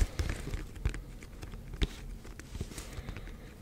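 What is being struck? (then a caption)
Cardboard box. Fingertips and nails tap and scratch the front face of a black printed cardboard Yeti microphone box held close to the mic. Soft, dull low thumps mix with faint dry scratching and crackle, some taps standing out louder. The taps die away almost instantly with no ring.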